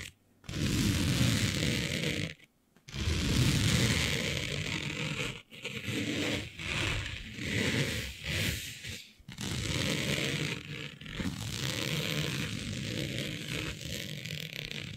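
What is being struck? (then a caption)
Smooth synthetic fabric. Long nails scratch across a smooth synthetic fabric with a planet print, laid flat. Continuous raspy scraping strokes carry a bright hiss over a dense low rumble, broken by brief pauses, including a short silence near the start.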